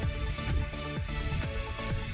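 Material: Nothing is struck.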